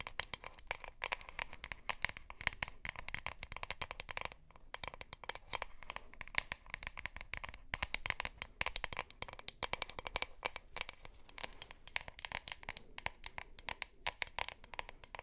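Long nails scratch over the label and the plastic body of a plastic deodorant stick, producing a dense run of quick, dry scratching and crinkling strokes. The sound is bright and papery, with brief pauses between bursts and no ringing.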